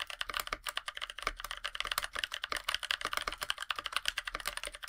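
Both hands type steadily with fingertips on a NovelKeys NK65 Aluminum 65% mechanical keyboard with Blueberries switches, a black aluminum case and white PBT plastic keycaps. About 33 quick, crisp key presses are heard as bright, clacky taps with little low end. Each tap dies away almost instantly.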